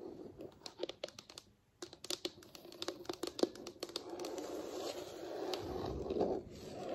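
Very long, pointed acrylic nails tap and scratch across a large, solid wood-look floor, possibly laminate. A quick run of sharp, dry clicks during the first four seconds gives way to a steady, raspy scratching that swells near the end.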